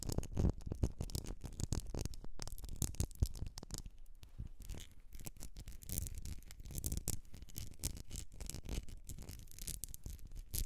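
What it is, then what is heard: Glass candle jar filled with wax. Long nails scratch and tap the sides of a medium etched glass candle jar filled with solid wax, which is tilted at the end. Dense, rapid scratching and tapping runs throughout with a low, soft body and a faint bright rasp, with louder clusters of taps near the start and around the seventh second.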